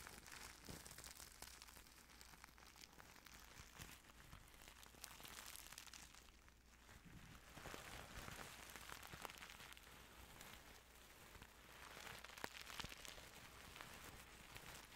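A black and silver sequin pillowcase, soft fabric covered in metal-look plastic sequins, is held in hand near the microphone while fingertips rub and brush the sequins back and forth. The result is a quiet, continuous stream of bright scratching and crinkling with tiny sharp ticks, swelling and easing in waves over a steady low hum.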